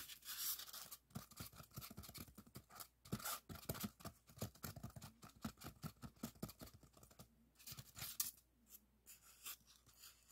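A long, solid white expanded polystyrene block is scratched and rubbed with fingertips and nails. Quiet, rapid scratching and squeaky rubbing bursts come in dense, uneven clusters, with bright, hissy friction and a soft low thump under some strokes. Brief pauses break up the texture before the scratching resumes.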